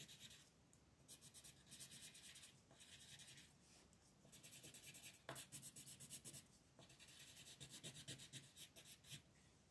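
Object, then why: Colored pencil rubbing on a paper coloring page. A yellow colored pencil tip rubs back and forth on a flat paper mandala coloring book page lying on a table, while the other hand with long nails holds the sheet. Quiet, bright, scratchy strokes come in rapid back-and-forth bursts separated by brief pauses, with soft low-end rustle beneath.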